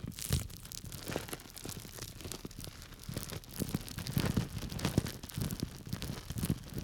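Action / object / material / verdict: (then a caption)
scrape / plastic bag of small dry grains / plastic, grain / none. A small clear plastic bag full of small dry grains, held by its tied top, is scratched and rubbed through the plastic with fingertips and nails. It makes a dense, continuous run of crinkling, crunching rustles. Soft low grain shifts sit under bright, quick crackles that swell louder toward the end.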